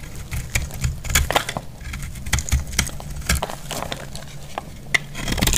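A metal blade cuts and scrapes the edge of a solid, dry yellow bar of soap, letting flakes fall. It makes a rapid run of short, dry, crackling snaps and scrapes, with bright crisp clicks over a low rumble.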